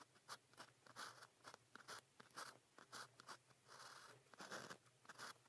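A fine pen nib writes on a flat sheet of cream grid paper, held in the fingers, in continuous scratching strokes. The clip is quiet, with many short, bright scratches and a few longer strokes across the midrange and high end.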